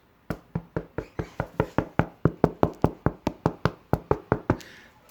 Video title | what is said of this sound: Bread baking with Jim | it's really hot but listen to this hollow sound when you knock on the bottom of it that is the sign of a done loaf